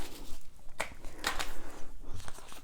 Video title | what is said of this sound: Embroidered Luggage tag - 12 Days of Christmas Craft - embroidery tutorial | the sound here is a little bit different with the seed beads